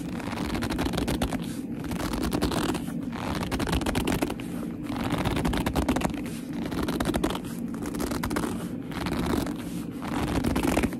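Long-nailed fingers squeeze, grip and scratch the front of a hollow black leather handbag. Dense crackly scratching and squeaky gripping noises come in repeated bursts with brief lulls between them, over a steady low-mid body around 250 Hz.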